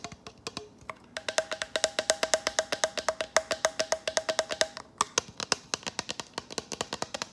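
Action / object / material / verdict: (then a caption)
tap / plastic water bottle / plastic / none. Fingernails tap rapidly on a plastic water bottle, producing about fifty short, dry clicks with a hollow tone near 640 Hz and a bright upper edge. Each tap dies away almost instantly. The tapping is steady with a brief pause before the final stretch.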